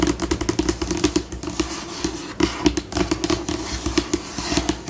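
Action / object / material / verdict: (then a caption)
tap / laminated tabletop / laminate / none. Long pink acrylic nails on both hands tap and scratch a large, flat, solid, glossy white laminated tabletop, shifting between fast and slow. Quick, sharp clicks with almost no ring alternate with brief scratchy scurrying over a faint steady hum. A steady tone around 300 Hz runs underneath.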